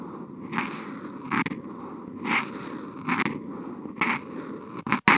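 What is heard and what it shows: The felt tip of a Posca paint marker is drawn across flat white Kent paper in continuous wavy strokes, picked up by a contact mic on the marker. A soft, steady scratchy hiss swells into brighter, raspier bursts as the strokes sweep back and forth. The clip ends with a few sharp clicks.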